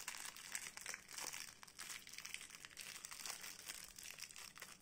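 Long painted nails and fingertips pick at, tear and crinkle the clear printed plastic film wrapped around a small solid blue soap bar held in both hands. A soft, steady stream of bright, crackly crinkling with quick rustling snaps fills the clip, with almost no low end.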